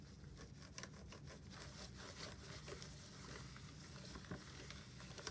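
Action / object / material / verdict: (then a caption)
scrape / plastic desk phone / plastic / none. A black plastic office desk phone base with a screen and keypad is wiped with a cloth wipe by gloved fingertips pressing over its buttons. A steady, quiet, low rubbing and scrubbing runs throughout, dotted with faint, sharp ticks and brighter swipes as the fingertips pass over the keys.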